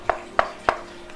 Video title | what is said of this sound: REVIEW KNALPOT DSM RACING MURAH TAPI ORIGINAL !! R25 WididiHD | dalamnya Ini diisi gelas full itu ringan Jadi kalau diketok kelihatan kopong